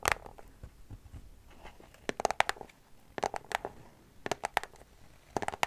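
A small white cardboard product box is scratched and tapped with long nails, giving sharp, dry, bright clicks in quick clusters with soft scraping between them. The taps come in short bursts spread across the clip, with no ring after each hit.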